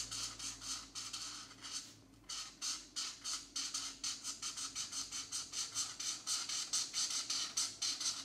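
A colored marker tip scrubs quickly back and forth over a small area of a paper coloring book page, making a bright, hissy scratching and rubbing sound. About 25 short strokes are heard in a steady rhythm, with a brief pause near the two-second mark.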